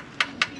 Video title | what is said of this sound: BAGONG TUKLAS SECONDHAND BISIKLETA PERO HIGH-END - SECONDHAND HIGH END BICYCLE - MTB GRAVEL RB | ang tunog niya parang makapal na carbon, no? Makapal na Iba-iba yung tunog sa mga manipis, Parang ampaw, di ba?